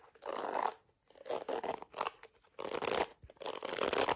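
Long acrylic nails scratch the bristles of a small plastic detangling hairbrush cupped in a hand and tap its yellow plastic back. The result is dry, crackly, bright scratching in several short bursts separated by brief pauses, with no low rumble and almost no ring after each stroke.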